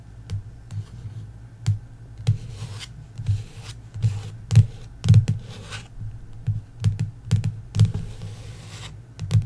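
Long nails tap quickly and scratch across the glossy card cover of a paperback novel lying flat. About twenty short, irregular taps come through as dull, low thumps with sharp bright clicks, between stretches of dry, papery scratching.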